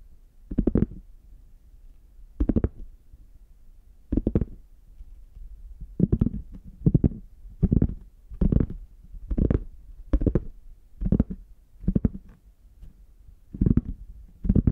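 Fingertips tap and scratch the embossed chocolate squares of a brown, chocolate-bar-shaped zippered hard case, a hollow, closed molded shell covered in faux leather and held in both hands. Short, dull, low-pitched bursts of tapping and scratching come in clusters about every one to two seconds, with quiet pauses between them.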